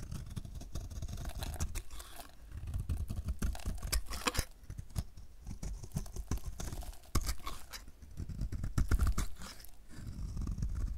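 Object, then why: Bar of soap shaved with a knife blade. A solid oval DURU light blue dry soap bar, held in the hand, is shaved with a utility knife blade, and white flaky shavings come off. A steady run of short dry scraping and crackling strokes comes in bursts, with a soft low rumble under the crisp bright edges.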